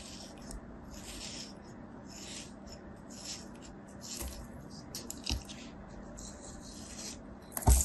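A thin metal knife held in fingers crosshatch cuts and scrapes a palm-sized solid kinetic sand sphere. Soft, gritty rasping strokes come in repeated bright hissy bursts over a low, steady rumble, with a sharper, louder crunch at the very end.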